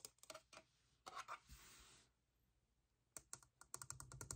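A small hollow vinyl Youtooz figure shaped like an hourglass, painted to look like wood and glass, is tapped and scratched with fingertips and nails. Quick, dry clicking taps come in bursts, with a soft, bright scratching sweep in the middle, and each tap dies away almost at once.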